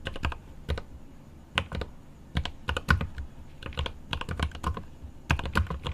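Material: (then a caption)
Plastic, aluminium. Both hands type with fingertips on a 75% mechanical keyboard with plastic keycaps on an aluminum case, making rapid key taps. Each keystroke gives a short, deep, rounded clack with quick bright edges. The taps come in uneven bursts with brief pauses between them.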